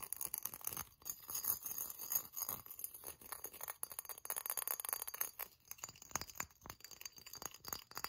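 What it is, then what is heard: Glazed ceramic ornament, tapped and scratched. Long nails tap and scratch the body and leaves of a hand-sized hollow ceramic pineapple ornament with a metallic silver glaze, a cut pattern and holes. The result is a quiet, rapid stream of bright, dry clicks and scratchy rasps with a faint glassy clink, each tap dying almost instantly.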